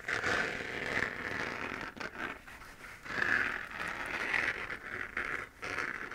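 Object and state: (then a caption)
Hollow plastic moon lamp, scratched. Long nails scratch across the hollow, textured surface of a 3D-printed plastic moon lamp, a sphere glowing orange. The result is a steady, dry rasping scrape centered around 1.7 kHz with bright hiss above, coming in sustained strokes broken by brief quiet pauses near 2 and 5.5 seconds.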